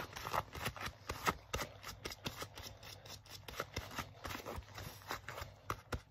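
Fingers grip, rub and scratch the crinkled sleeve of a worn black leather jacket. A quiet, steady run of short, dry crackles and scuffs spreads from low to bright tones, each dying away almost instantly.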